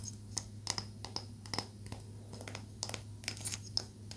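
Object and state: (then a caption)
Palo santo wood stick. Long acrylic nails tap along the surface of a small, solid stick of palo santo wood in a quick, uneven series of sharp, dry clicks that stop instantly with no ring. A steady low hum runs underneath throughout.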